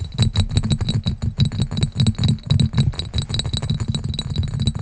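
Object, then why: Cut glass pitcher. Fingertips and nails rapidly tap and scratch a small, clear, hollow, empty cut glass pitcher with a diamond pattern. The dense, quick clicks and scrapes have a heavy, low thud, with faint, bright ringing tones above.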